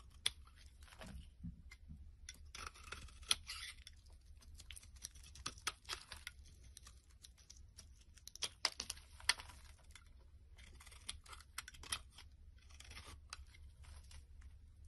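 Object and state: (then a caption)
Bar soap being carved. A yellow and white striped bar of soap is held in the hand and scraped and carved with a knife blade into crumbly flakes. Dry, bright scraping strokes and crisp crackling ticks come in short bursts over a faint steady low hum, with the soap breaking away in crumbly flakes.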